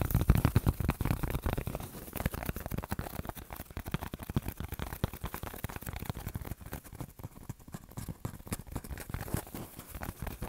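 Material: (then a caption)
Plastic foam. A thin, flexible, solid white foam sheet of the polyethylene or styrofoam type is bent in the hands and scratched and rubbed with fingertips and nails. The result is a dense run of quick, dry scratching and crinkling ticks with a soft, low-heavy body, loudest at the start and then steady.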